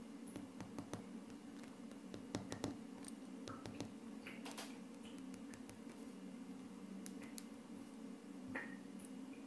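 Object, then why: Wood-grain laminate tabletop. Short purple-painted fingernails and fingertips of both hands tap and scratch a flat, solid wood-grain laminate tabletop. Quiet, crisp clicks and brief scraping strokes are heard over a steady low hum.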